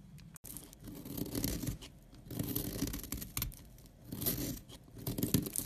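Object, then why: Solid bar soap scraped with a knife blade. A utility knife blade scrapes a powdery layer off a solid tan, opaque bar of soap held upright. Dry, gritty rasping comes in repeated swelling strokes, each rising and fading, with a low, dull body beneath the bright scratchy edge.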